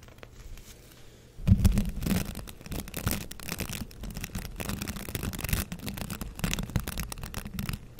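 A light green plastic hand scrub brush with dense white and green bristle tufts has its bristles scratched and flicked by fingertips and nails. After a quiet first second and a half, a steady run of dry, bristly scratching and flicking begins, with a low rumbling body and brushy high edges. The strokes blur together rather than standing apart.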